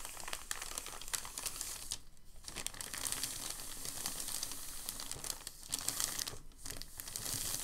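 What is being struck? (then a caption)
Thin packing paper sheet. A thin, crinkled packing paper sheet on a table is folded by hand, then pressed and smoothed with the fingertips. It makes dense, bright crinkling and rustling throughout, with brief quieter dips around 2 seconds and 6.5 seconds.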